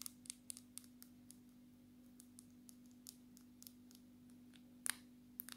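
Long natural nails tap the glass screen of a dark smartphone turned to face up, making a scattered series of quick, sharp, bright clicks that die away almost instantly. A louder cluster of taps lands near the end, all over a faint steady low hum.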